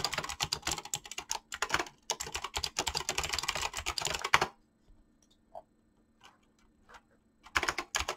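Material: Plastic.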